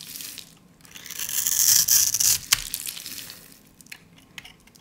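A utility blade cuts into a solid, dry, pale pink soap bar held in the hand, its top scored in a grid, so small cubes and flakes crumble off. Bright, dry crunching and scraping swells into a loud crumbling rush, breaks off with a sharp crack, then settles into quieter, scattered crackles.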